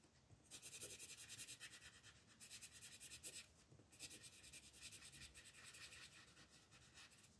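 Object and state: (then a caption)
Colored pencil scratching on paper. An orange colored pencil rubs back and forth across the moon on a flat paper coloring book page. It makes quiet, bright, scratchy strokes in rapid repeated bursts, with short pauses between passes.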